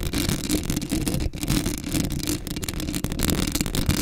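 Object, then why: Metal mesh microphone grille. A black Blue Yeti microphone's hollow metal mesh grille is scratched with long acrylic nails. The result is a steady, dense, close-up scraping that is heavy in the low end, with a low rumbling body and bright, gritty scratch texture on top. There are brief dips and surges throughout.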